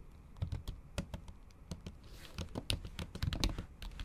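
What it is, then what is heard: Laptop keyboard with silicone cover being typed on. Long acrylic nails type quickly on a MacBook keyboard covered with a pink silicone keyboard cover. The result is a rapid, uneven patter of soft, muffled key thuds with light, bright nail clicks on top, each tap dying away almost at once.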